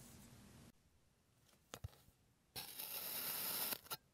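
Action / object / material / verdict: scrape / molded kinetic sand shape / kinetic sand / none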